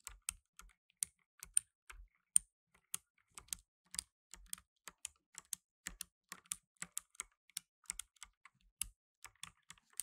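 Fingertips in blue nitrile gloves type fast on a black tenkeyless mechanical keyboard with plastic keycaps. About 35 sharp, bright clacks ring out in quick, uneven bursts. Each keystroke dies away almost instantly, with faint low thumps under the clicks.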